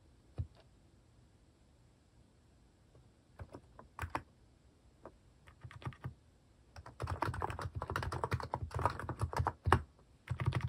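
Fingertips type slowly on a cream plastic mechanical keyboard fitted with plastic cat and paw keycaps. Sparse, irregular, short clicky keystrokes with a low thock fill the first half. From about the seventh second they thicken into a faster, denser run of typing with the same soft, quick-decaying taps.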